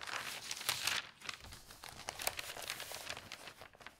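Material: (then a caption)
Paper. Fingertips with long nails open a large folded newsprint newspaper, "de zondag," lying on a table, and turn its thin pages. Bright, crinkling rustles and sharp paper snaps come in bursts, with a louder surge near the start before settling into softer, continuous crackling.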